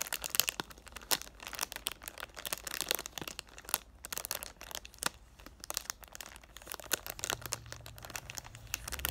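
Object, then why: Cardboard box in plastic cellophane wrap. Short, black-painted nails tap on a hand-sized, hollow, rectangular cardboard "thank u, next" perfume box, still in its clear plastic cellophane wrap and held in both hands, and crinkle the wrap. The result is dense, bright crinkling and crackling with quick, dry taps and almost no low end. A faint low hum rises near the end.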